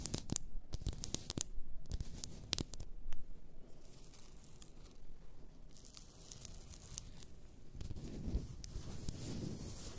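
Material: Glass.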